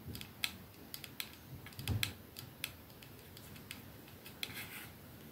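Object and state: Glass perfume bottle tapped with nails.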